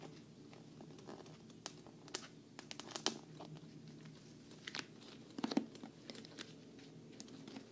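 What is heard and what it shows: Long nails tap and scratch the front and logo corner of a hollow, black glossy quilted patent vinyl travel case. Sharp, dry clicks and crinkly scratches come at an irregular pace over a low, steady hum. The taps have bright edges and die away almost instantly, with a louder cluster near the end.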